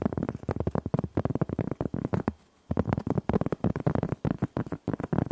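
A large, thin, solid round cork board is held up while long nails scratch and rub quickly across its flat surface. The result is a rapid run of short, dull, low scratching strokes with little brightness, broken by a brief pause partway through before the strokes resume.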